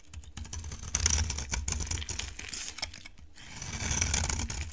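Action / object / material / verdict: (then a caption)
scrape / cream bar soap carved with a knife blade / soap / none. A utility knife blade carves and scrapes a solid, dry cream bar of soap. Dense, bright crackling scrapes and crisp flaking sounds run throughout over a low rumble, swelling louder near the start and again toward the end.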